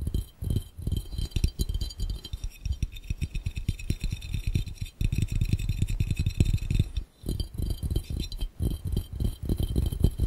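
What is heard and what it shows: Fingertips tap rapidly on the round glass bottom of a hollow, empty glass fishbowl, making a dense stream of soft, low, thudding knocks with short rattling bursts. The taps die away almost instantly, with brief pauses near the five- and seven-second marks.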